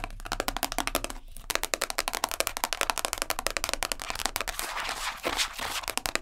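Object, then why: Thin plastic food-container lid. Long nails rapidly tap and scratch the top and rim of a round, dark-purple plastic food-container lid, thin and hollow-backed, about hand size, both where it rests and while it is held up. A fast, steady stream of dry, bright clicks with a hollow tone around 1 kHz dies away almost instantly, with a brief pause just after the first second. Scratchy, hissing scrapes blend in toward the end.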